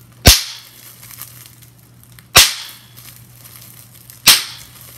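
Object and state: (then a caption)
Bubble wrap popping. Clear plastic bubble wrap is bunched in the hands while fingertips and long nails pinch its hollow air bubbles. Three sharp, bright pops ring out about two seconds apart, each decaying quickly over a faint, steady low hum.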